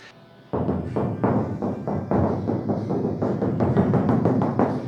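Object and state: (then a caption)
Sound-deadened steel car roof panel. Rapid, irregular dull knocks are rapped on the steel roof panel of a 1968 Camaro that has been coated with rubberized undercoating on the outside and sound-control coating on the inside. Each thud is low and short, with no ringing. The panel now sounds dead instead of resonating and vibrating as it did before, showing the sound deadening worked.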